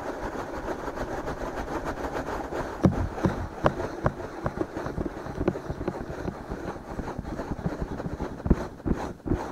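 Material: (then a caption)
Silicone. Fingertips scratch and rub both soft silicone ears of a binaural microphone, making a continuous close, muffled scratching and rustling. Sharper scrapes and taps stand out from the steady friction, with most of the energy low and little brightness.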